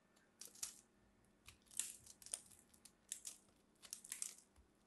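A small metal blade scrapes and carves into the surface of a solid mint-green soap chunk being shaped into a ball, held in both hands, producing crumbly shavings. Quiet, bright, crisp scraping and crunching bursts come in short clusters separated by near-silence, with almost no low end.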